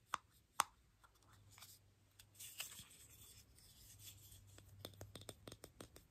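A small, hollow, mint-green plastic toy egg, opened into two halves with a perforated black insert and empty inside, is handled and tapped with fingertips and nails. Two sharp, bright clicks open the clip, followed by soft rubbing and a run of lighter, irregular clicking taps on the plastic shell. The sound is quiet, crisp and dry, with no ring after each tap.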